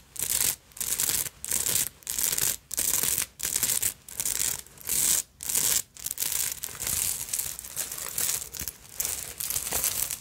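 Long nails scratch all over the beaded fabric surface of a small black beaded and sequined purse held in the hands. The result is bright, hissy rasping in rhythmic bursts, with short pauses between them at first. It then becomes a nearly continuous, busier scratching.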